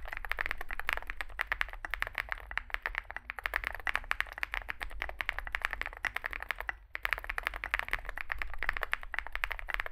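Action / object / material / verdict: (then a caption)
tap / mechanical keyboard with plastic keycaps / plastic / none. Fingertips type continuously on a small Zoom65 65% mechanical keyboard with a dark case and white and grey SA plastic keycaps. It makes a rapid stream of short, crisp clacks with a bright midrange tone over a steady low hum. The typing pauses briefly near the seventh second, then resumes.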